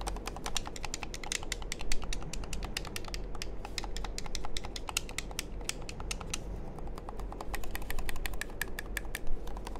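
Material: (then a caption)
Plastic. A small hollow black plastic game controller is held close to the microphone while fingertips and nails click its buttons and tap its casing. The result is a rapid, steady stream of short, crisp, bright clicks with almost no ring, over a constant low hum.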